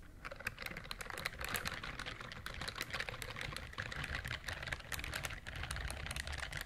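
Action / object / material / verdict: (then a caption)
scrape / silicone scrubbing glove with bristles / silicone / none. Long nails scratch along the bristle nubs of a pale pink silicone dish glove worn on the other hand. The result is a steady stream of rapid, crisp clicking and ticking, bright around 2 kHz, over a soft low rumble.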